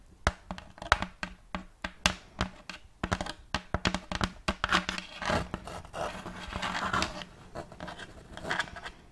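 Long fake nails scratch and rub across the surface of a large, round, checkerboard wooden tray held upright. A quick run of sharp, dry clicks and scrapes gives way midway to denser, continuous scratching and rubbing, then trails off into lighter strokes.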